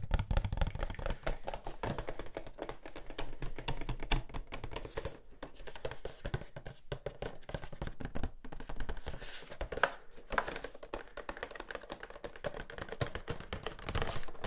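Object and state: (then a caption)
Cardboard toy box, tapped. A small, hollow, rectangular printed cardboard Funko Pop box with a plastic window, holding a vinyl figure, is held in the hands and tapped with fingertips and nails. The result is a dense, steady stream of quick, dry taps with a soft, hollow, low-heavy thump and faint clicky nail ticks, each dying away almost instantly.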